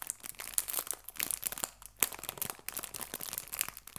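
A small clear cellophane bag full of artificial fabric leaves is crinkled and pinched at its top edge by fingertips. Dense, quiet, bright crackling fills the clip in rapid irregular bursts, with a few sharper snaps standing out.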